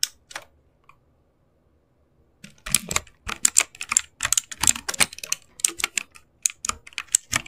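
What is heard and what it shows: Fingertips press and tap the keys of a backlit mechanical keyboard with plastic keycaps. A few isolated clicks come first, then a pause of nearly two seconds, then a run of quick typing. Each click is short, dry and bright, with almost no low end and no ring.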